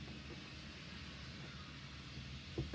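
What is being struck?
Nothing is struck.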